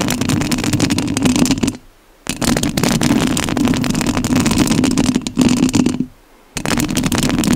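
Long nails scratch the metal mesh grille of a rhinestone-covered studio microphone, producing dense, rapid, gritty scraping with a steady low-mid rasp around 250 Hz and bright crackle on top. The scratching comes in three loud stretches, stopping into near silence twice before resuming.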